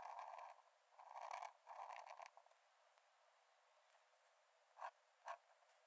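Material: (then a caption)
Paper. A metal nib in a wooden dip-pen holder scratches short strokes across the cream paper page of an open sketchbook lying flat on a dark desk while drawing. Three longer raspy scratching passes fill the first two seconds, followed by a quiet pause and then two quick, sharp strokes near the end. The thin, papery sound sits in the mids around 700 Hz with bright hiss above, and has almost no low end.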